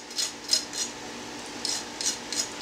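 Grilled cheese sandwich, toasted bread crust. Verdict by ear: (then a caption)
Crispy. A utensil taps or scrapes across the toasted bread of a grilled cheese sandwich made in a sandwich maker to test its crispiness. It makes a series of short, dry, high-pitched crunchy scratches with almost no ring. The sandwich sounds crisp, about as crispy as the stovetop version.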